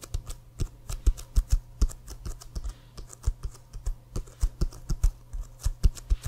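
Rapid fingernails tap across the leather of an inflated, hollow American football with a CFL logo, held upright. The quick taps come in an uneven rhythm as short, dull knocks with a soft, bright click and almost no ring. A steady low hum runs underneath throughout.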